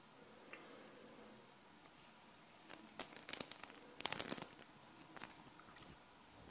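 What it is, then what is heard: Small metal magnetic balls. Long nails scratch a sheet of small solid metal magnet balls up close, then the sheet is held and folded in the hand. After a quiet, faint scratching start, bright, sharp clicking and crackling comes in short bursts, densest around the middle of the clip, with a few scattered clicks toward the end.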